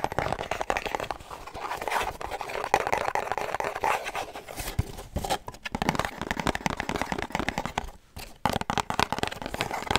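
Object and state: Cardboard perfume box.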